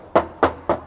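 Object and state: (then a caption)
Original car fender, no thick body filler. Three knocks on the steel front fender of a used 2014 Toyota Vios 1.5 TRD Sportivo are heard as short, thin, ringing taps with a midrange tone that decays quickly. The thin, ringing sound indicates original factory metal with no thick body filler, though there may be minor paint touch-ups.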